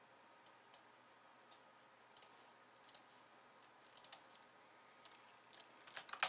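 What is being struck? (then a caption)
Plastic computer keyboard. Long-nailed fingertips press the keys of a pink plastic slim keyboard with white keys, mostly with one hand resting and then typing. About eleven sparse, quiet, bright clicks are heard, spread out with short gaps and growing closer together and louder at the end. Each click is short and dry, with almost no ring.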